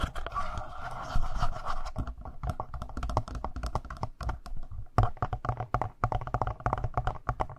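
Fingertips tap and scratch the lower button area and sides of a black, hollow-bodied plastic Tascam handheld audio recorder. Rapid, uneven, dry taps with deep low thumps mix with scratchy rubbing over a faint steady hum.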